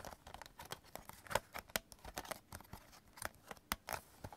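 Fingertips tap and scratch the top case and edges of a stack of several clear hard plastic CD jewel cases lying on purple fabric. About twenty quiet, sharp plastic clicks and scratchy scrapes come in an irregular pattern, each dying away almost at once, with a bright crackly edge over little low end.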